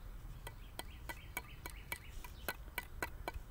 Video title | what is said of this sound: There's A Pipe In My Hole TX Bikini Garden | when I hit it with this, you can hear that it's hollow